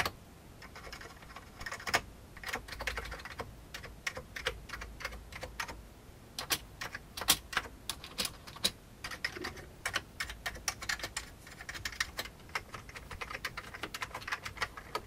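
Fingertips type on a full-size vintage beige plastic computer keyboard, producing a steady, irregular stream of sharp, bright key clicks and clacks. Each keystroke is brief with almost no ring, and quiet gaps fall between bursts of faster typing.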